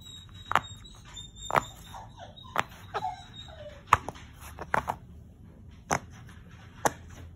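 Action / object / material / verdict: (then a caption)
tap / silicone pop-it fidget toy / silicone / none. Fingertips press and pop the hollow bubble domes of a round, hand-sized rainbow silicone pop-it fidget toy resting on a wood-look floor, working row by row. Ten short, dull pops stand apart over a quiet background, each a quick snap that dies away at once, with a faint steady high tone in the first half.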